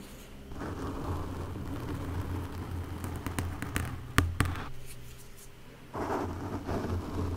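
A small wooden stick scratches and taps across the black foam windscreen covering a Blue Yeti microphone. Close, muffled, low-heavy scratching rustles steadily, broken by a few sharp taps near the middle, then picks up again toward the end.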